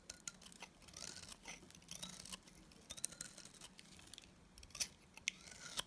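A box cutter blade shaves a solid white oval bar of dry Timotei soap held in the hand. It makes a quiet, steady stream of bright, crisp scraping and cutting sounds, with a few sharper clicks toward the end.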